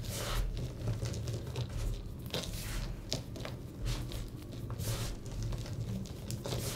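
Both hands squeeze, crush and rub a heap of dry, pressed blue-green gym chalk chunks and powder with fingertips and palms. The result is a steady, soft crumbling with a dull low rumble, broken by bright, crisp crackles as the pieces give way.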